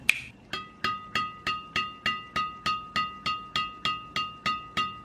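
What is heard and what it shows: A freshly installed HNDRD Hundred Hybrid synthetic badminton string on a racket, an inexpensive hybrid string, is sounded on its string bed, giving 17 sharp, evenly spaced pings. Each is a crisp, bright ping with a clear tone around 2.5 kHz that decays quickly, and the hitting sound is judged loud and ringing and not disappointing.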